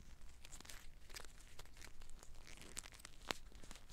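A clear plastic eye mask filled with green gel water beads is held in the hands while long black nails squeeze and scratch it. Quiet crinkly, tearing scratches mix with sharp bright clicks over a low, steady rumble, with one louder snap near the end.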